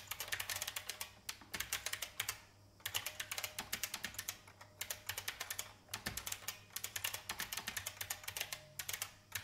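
A vintage beige plastic IBM mechanical keyboard on a wooden desk is typed on quickly with fingertips with red nails. Bright, sharp clacks come in rapid bursts with short pauses between them. Each keystroke ends almost at once, and a faint low hum sits underneath.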